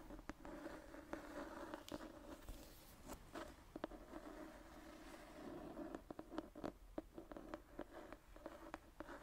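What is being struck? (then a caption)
Hardcover book with paper cover and leather spine. Medium-length dark painted fingernails scratch and tap the marbled paper cover of a thick antique hardcover book with a brown leather spine, held upright in one hand. A quiet, steady scratching rasp with a low-mid tone is punctuated by many short, sharp taps that cluster more densely toward the end.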